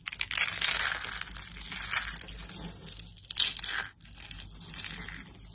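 Fingers with painted nails grab and crush handfuls of dry orange soap flakes from a pile set beside rolled orange soap roses and blue flakes. The result is a dense, bright, crackling crunch, loudest early on and in a second burst before a brief drop to near silence. Softer rustling crinkles follow.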